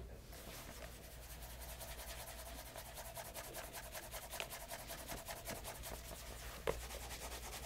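A cloth-wrapped fingertip rubs polish along the upper of a light brown leather loafer, fitted with a brass-knobbed shoe tree and held on a leather apron, working near the heel and the side. Steady, soft rhythmic strokes produce a brushing hiss over a low hum, broken by two brief brighter taps.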